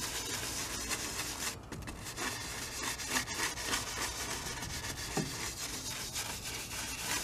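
A wide bristle brush is rubbed in criss-cross strokes over the oil-painted surface of a medium, hollow-backed stretched cotton canvas on an easel. The result is a continuous, bright, scratchy brushing hiss with a rough rhythmic texture and a brief dip in the middle.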